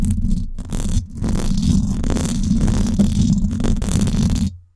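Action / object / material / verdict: scrape / woven-wire metal microphone grille / wire mesh / none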